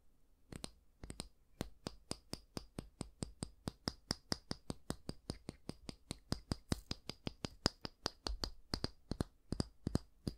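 Fingertips and nails tap and scratch the solid light wooden back and the bristles of a small oval bristle brush held in one hand. A quick, uneven series of short, dry clicks with a bright, high edge is heard, with no ring after each tap.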